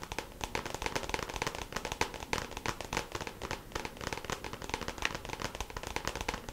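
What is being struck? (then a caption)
Small clear plastic compartment box. A small, hollow, clear plastic compartment organizer case filled with press-on nails lies flat while its lid is tapped quickly with long pink acrylic nails. The result is a dense, continuous stream of light, sharp plastic clicks with a bright, hollow ring.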